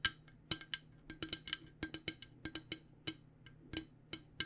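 Long nails on both hands tap an insulated, hollow stainless steel water bottle with a purple coated finish. About 19 quick, uneven taps sound bright and clicky, each with a faint hollow ring near 1.6 kHz that fades almost at once. A quiet low hum runs underneath throughout.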